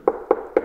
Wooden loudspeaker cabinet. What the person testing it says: ça sonne bien ça sonne bien plein